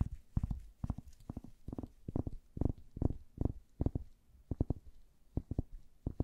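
Long nails tap and scratch the surface of a hand-sized, orange-tan solid wooden paddle hairbrush with bristles, held in gloved hands. Quick clusters of short, dull, low thumps repeat at an irregular pace, each dying away almost at once, with faint scratchy texture between them.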